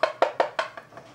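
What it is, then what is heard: Hollow-sounding floor tile. Tapping on a badly bonded ceramic floor tile gives six short, hollow knocks with a woody, mid-pitched tone that fade quickly. The last few taps are softer. The tile sounds very hollow at this spot, a sign of poor bonding.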